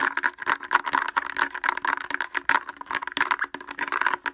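Fingers wearing wooden clothespins tap rapidly on the front of a blue plastic portable speaker with a hollow housing and grille. The result is a dense, fast clatter of short, dry clicks with a hollow midrange knock and a bright edge, over a faint steady low tone.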